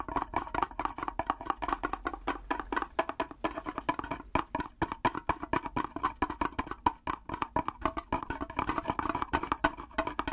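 A small, hollow wooden mini hand drum with a round frame and a long wooden handle painted with red dots is tapped on its head and frame with the natural fingernails of one hand. It makes a rapid, continuous stream of dry, clicky taps with a woody, hollow tone centered near 1 kHz and almost no ring after each hit.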